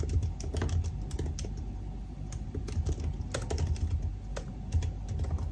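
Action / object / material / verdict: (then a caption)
tap / aluminium laptop keyboard with plastic keys / plastic / none. Fingertips type on the black plastic keys of a silver aluminium laptop keyboard. A steady, fast run of soft key taps with a deep, thumpy low end, brief bright clicks and short decays.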